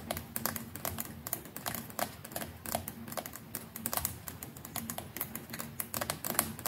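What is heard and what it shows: Long nails of several fingers rapidly tap the plastic neck and brush head of a white plastic electric toothbrush. The result is a dense stream of quick, crisp, bright clicks with almost no ring, much like fast typing on a keyboard.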